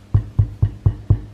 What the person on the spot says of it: She sounds hollow, so that's good.